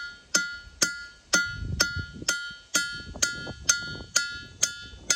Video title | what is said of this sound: Making Rocks Sound Like Bells At Ringing Rocks Park In Pottsgrove Pennsylvania - Roadside Attraction | this was definitely the best sounding one we have found at the park thus far